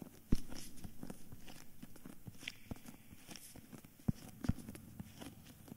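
A solid cream hardcover book with a paper dust jacket is held upright in both hands while fingertips and nails tap and scratch its front cover and spine. Dull, low, close-up taps with almost no ring stand out over a steady soft scratching rustle, with a few sharper knocks near the start and toward the end.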